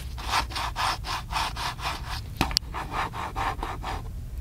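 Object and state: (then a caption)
Plastic camcorder. Fingertips rub and scratch back and forth across the casing of a small black handheld plastic camcorder, making a steady rhythmic scraping of about two strokes per second. The strokes are interrupted around the middle by a couple of sharp clicks before the scratching resumes.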